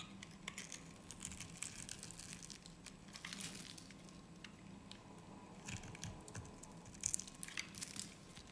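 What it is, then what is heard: Soap bar being sliced. A metal utility blade slices and scrapes thin layers off the end of a solid, hand-sized purple soap bar held in the hands. The cuts make quiet, crisp, crinkling scrapes with bright, brittle bursts. They come in short runs over a steady low hum, with a sharper flurry near the end.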